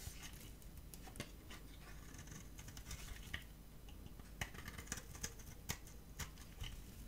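A dry, solid cream-colored rectangular bar of soap is held in the hand and scraped and cut with a metal utility-knife blade, curling flakes off. Quiet, soft scraping and crumbly rasping are broken by sharp, bright clicks and ticks as the blade bites and chips the bar, over a low background rumble.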